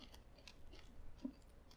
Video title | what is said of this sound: Keto Cereal - Cinnamon Toast Crunch | you hear that crunch perfect